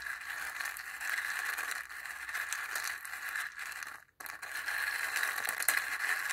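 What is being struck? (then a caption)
Dried gourd bowl with chickpeas stirred by a wooden stick. A wooden stick stirs and scrapes inside a small, hollow dried-gourd bowl with a zigzag rim that holds a few dry chickpeas. It makes a steady, bright, dry scratching and rattling with a strong midrange hiss around 1.7 kHz. The sound stops for a brief moment about four seconds in, then resumes.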